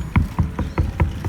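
Six dull, low knocks on the lower section of a water tank sound full and thud briefly without ringing, showing water at this level. Together with a temperature check, this shows the tank is only halfway full.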